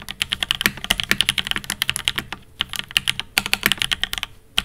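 A Fox Labs Time80 Reforged with Alpaca V1s, a silver aluminum 80% mechanical keyboard with GMK-style ABS plastic keycaps, is typed on continuously by the fingertips of both hands. The result is a fast stream of short, bright clacks centered near 2.9 kHz that die away almost instantly, with little low end and a brief pause just before the middle.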